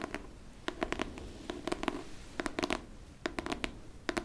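Long nails scratch the cover of a solid pink hardcover book, held flat and then upright. Quick, dry scratching strokes come in short clusters with brief pauses between them, each stroke a sharp bright burst over a faint low hum.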